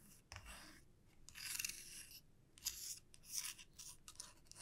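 Long nails scratch and flick across the teeth of a small, solid wooden comb with wide teeth lying flat on a felt mat. The result is a series of quiet, bright, raspy scratching bursts, mostly high-pitched with very little low end and short decays.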